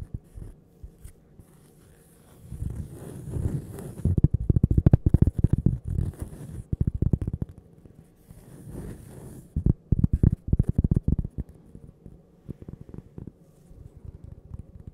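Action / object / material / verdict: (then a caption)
tap / flat cork coaster tapped and scratched with fingernails / cork / none. Long purple nails tap and scratch the face of a flat, solid, toast-shaped cork coaster with a printed logo. Dull, low, muffled taps come in quick, uneven flurries, with soft scratchy hiss rising in short bursts between them. The knocks die away instantly with no ring, and quieter scattered taps trail off at the end.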